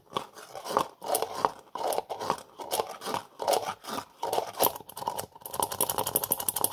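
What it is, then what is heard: Plastic jar lid, handled. Fingers twist, tap and scratch the black plastic screw lid of a small cream-colored plastic jar held in one hand. Dry scratchy bursts centered around 1 kHz come in quick, uneven swells with bright edges, then give way to a faster run of light, crisp ticks near the end.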